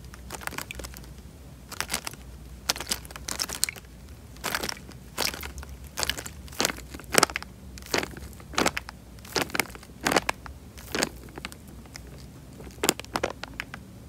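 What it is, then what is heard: Plastic bag filled with water. A tied, clear plastic bag full of water is squeezed and pressed by hand, giving short, bright crinkling and crackling bursts at irregular intervals. Quiet pauses fall between the bursts over a faint, steady low hum.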